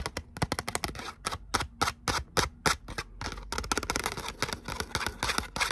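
Long nails tap and scratch across the surface of a thin gold glitter cardstock letter "O" held close up. The sound is a quick, irregular run of sharp, dry clicks with bright crackling scrapes between them.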